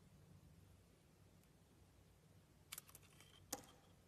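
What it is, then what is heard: Soap bar being cut with a blade. A utility-knife blade peels slices off the gold-painted coating of a palm-sized solid soap bar with an opaque pink interior, held in hand. After a quiet stretch of low background hum, four short, crisp, bright scraping clicks sound, three close together and a sharper one about half a second later.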